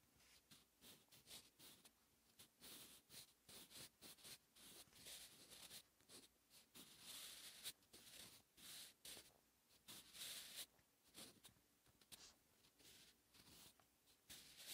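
A wooden 8B graphite pencil held in the fingers writes Korean cursive on a thin lined notebook page lying flat, its tip scratching and dragging across the paper. Quiet, bright, papery scratches come in a steady run of short strokes and longer drags, each stopping dead with no ring.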